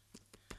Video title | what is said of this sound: Anna Geary, Catherine's Guinness Bread, Deposit Return Scheme Explained - Ireland AM (12/03/24) | if the bread is baked, tap it, hollow sound